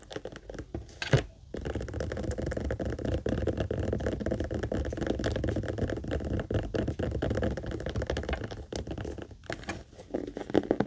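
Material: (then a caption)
Leather. Long nails tap quickly on the top, edges and handle of a small, hollow pink leather heart-shaped purse, first held and then set on a table. The taps come as a dense, steady patter of short, dull knocks with a soft low body. There is a brief pause near the start and another near the end.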